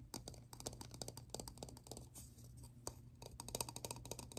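Fingertips and short nails tap and scratch along the side and ridged rim of a small, hollow, round black plastic lid or ring held in the hand. The result is a quick, uneven run of dry, bright clicks and taps with short scratchy drags between them, each dying away almost instantly over a faint low hum.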